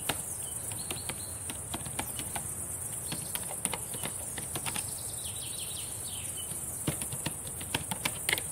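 Long painted nails and fingertips tap and type on the plastic keys of a black laptop keyboard, producing a string of light, sharp clicks over a constant bright, high-pitched hiss. The taps come in irregular clusters, with a few louder clacks near the end.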